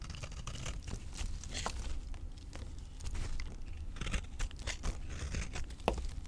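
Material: Soap.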